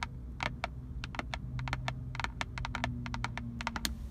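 Long decorated acrylic nails tap and scratch on the textured black plastic airbag cover and chrome emblem of a Nissan steering wheel centre, which is solid and fixed. Quick, crisp clicks come in rapid bursts, around 21 in all, over a steady low hum.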